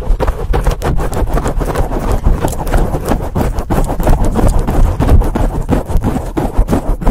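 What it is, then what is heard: Foam microphone windscreen being scratched. Both hands wrap around a large black foam windscreen on a microphone and scratch it with long painted acrylic nails. The result is a fast, continuous, irregular stream of loud, muffled, bass-heavy scratching and thumping, with little high-end content.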